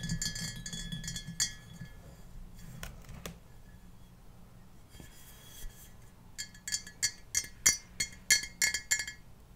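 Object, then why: Glass mason jar. Painted fingernails tap and clink along the sides of a clear Ball glass mason jar with no lid, hollow and partly filled with water, as it is held and turned in the hands. The bright, glassy clinks ring briefly over a low rumble of handling, starting in a dense cluster, thinning to a quieter stretch, then returning as sharper, separate taps toward the end.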